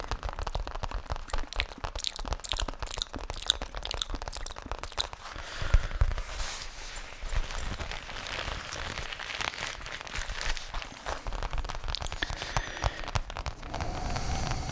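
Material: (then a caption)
Faux leather. Fingertips tap and scratch the surface of a flat, thin, tablet-sized black faux leather zippered case, apparently empty, held against the chest close to the microphone. The result is a dense stream of crisp, crunchy crackles and scratchy rustles over soft low thumps, continuing steadily throughout the clip.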